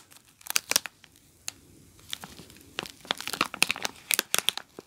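A soap bar sealed in plastic film wrapper, resting on carpet, is scratched by long nails and then picked up and squeezed to crinkle. Bright, dry crackles and sharp scratchy ticks come in irregular bursts with quiet gaps. The crinkling grows denser toward the end.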